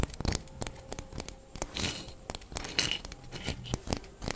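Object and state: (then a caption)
Orange scratched and tapped with fingernails. A whole orange with a textured peel is held in the hands and scratched and tapped with long fingernails. A steady run of sharp, dry clicks mixes with bright, scratchy rasps across the peel. Each tap dies away almost at once.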